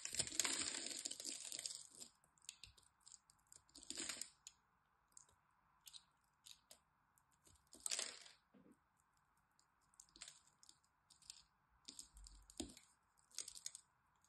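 A small metal blade scrapes and cuts into a hand-sized, solid green dry soap bar with a pre-scored grid, held in a hand with long white-tipped nails, so that cubes crumble off. The sound is a series of bright, crisp scrapes and crunchy cracks, starting with a long rasping scrape and then breaking into short, irregular bursts over a faint steady hum.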